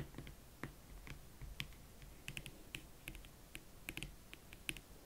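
Long nails tap and scratch the side of the leather upper and the platform edge of a single, hollow, empty hot pink leather Valentino Club Platform Chelsea ankle boot. A quiet, uneven series of short, sharp, bright clicks, with a ring near 2.6 kHz, sits over a soft low rumble and faint scratching. Each tap dies away almost instantly.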